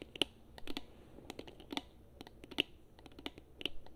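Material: Plastic.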